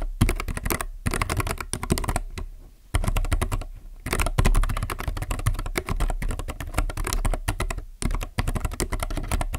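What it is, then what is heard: Plastic mechanical keyboard. Fingertips type rapidly on a mechanical keyboard with white plastic keycaps and some colored keys, resting on a desk. Quick, dense keystroke clatter with a deep, low-weighted body and short dry clicks runs throughout, broken by brief pauses near one, two and a half, four and eight seconds.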